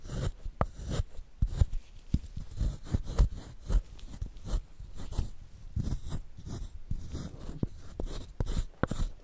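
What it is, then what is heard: Gym chalk block being scraped. A solid square white gym chalk block held in a gloved hand is scratched first with a thin wooden stick and then with a wooden spoon, carving grooves into it and producing powder. The result is a quick series of short, dry, crunchy scrapes and scratches, mostly low and dull with little high-end sparkle.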